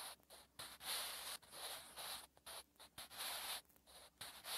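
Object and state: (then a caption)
Pencil writing on a paper notebook page. A sharpened wooden graphite pencil is drawn across a thin, flat lined page of a spiral notebook while writing Korean letters. The result is a series of bright, dry scratching strokes in short bursts separated by brief pauses, with almost no low end.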